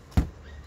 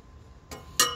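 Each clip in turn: First: rubber balloon, dull sound. Second: metal object, sharp ringing clink.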